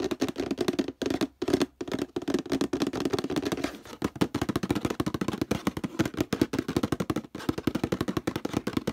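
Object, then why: Plastic detergent bottle. Fingernails and fingertips rapidly tap and scratch the label and the plastic near the handle of a hollow orange plastic detergent bottle. The result is a dense stream of short, dry, hollow knocks with a low-mid body tone around 300 Hz. It has a few brief pauses and little high-frequency content.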